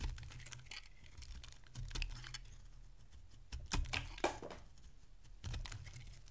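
A solid oval bar of dry orange soap, held in the hand, is carved into flakes with a metal utility blade. Crisp, dry scraping and shaving strokes come at an uneven pace over a steady low rumble, with a few sharper, brighter cuts standing out near the middle and end.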